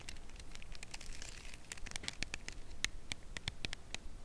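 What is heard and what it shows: A full, red Lindor cardboard chocolate bar box is held edge-on and tapped with long nails. The result is a steady run of short, dry, crisp clicks with bright, papery crackle, over a quiet low background rumble.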